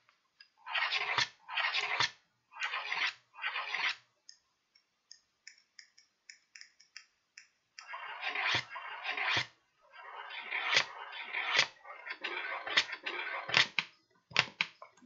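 A red-handled pointed tool scratches across the flat surface of a folded, empty kraft paper bag with blue print and paper handles. Four long, dry, bright scratching strokes are followed by a run of faint, quick ticks, then a denser stretch of rasping scrapes with sharp accents.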